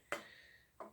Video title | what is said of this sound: 460style History | the middle seems all right there's no hollows in here because you can tap it